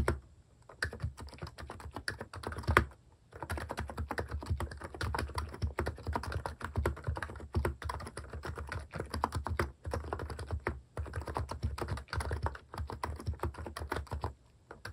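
Fingertips type fast on a mechanical keyboard with pastel plastic cat keycaps resting on a desk. The result is a dense, continuous run of quick, low, thocky key taps with short, dry clicks. The flurries pause briefly around 3, 10 and 11 seconds before fading out near the end.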